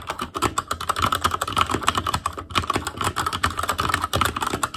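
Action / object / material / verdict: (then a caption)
tap / plastic mechanical keyboard with metal plate / plastic / none. Fingertips of both hands type rapidly on a full-size ASUS ROG Claymore Core mechanical keyboard, which has plastic keycaps on Cherry MX Red switches, a metal plate, a hollow case and RGB backlight. A dense, steady stream of short, clacky key taps rings with a midrange tone around 1.3 kHz and dies away almost instantly after each press.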